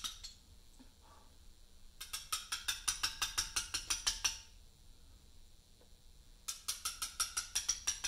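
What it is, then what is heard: Limestone slab being letter-cut with chisel. A mallet strikes a chisel against a large, solid Portland limestone memorial slab in steady letter-cutting taps. Two runs of sharp, bright, high clicks with very short ring are separated by a quiet pause, with about a dozen evenly spaced taps in the first run and roughly ten in the second.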